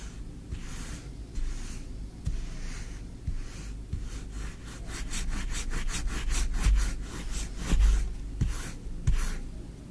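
A small wooden spoon is dragged across green kinetic sand in a tray, scraping its surface. Soft, grainy rubbing and scraping strokes repeat irregularly, with brighter hissy bursts and occasional low thumps as the spoon digs in.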